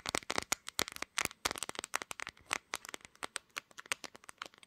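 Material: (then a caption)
Glass. Long green nails tap and scratch the glass back of a pink smartphone near its camera lenses while the phone, held in both hands, records itself. About two dozen sharp, dry, bright clicks come in a quick, uneven rhythm, with almost no low end and no ring after each tap.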